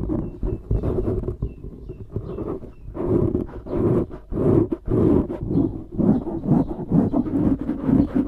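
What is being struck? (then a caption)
Foam microphone windscreen. Fingers grip, squeeze and scratch a dark grey foam windscreen on a microphone. The result is dense, muffled rustling and crackling, with repeated low thumps and swelling scratchy bursts that have no high end.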